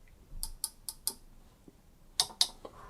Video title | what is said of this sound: Как отличить оригинал Casio G-Shock GA-100 от копии или Original vs Fake | the sound you will hear is quite specific to mineral glass and quite different from plastic